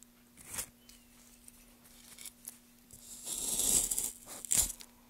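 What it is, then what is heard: Wooden block being carved. Gloved hands carve shallow grooves into a solid pale wood block with a small gouge. Short, bright scraping strokes come and go, building into a longer rasping scrape and ending with one sharp cut, over a faint steady low hum.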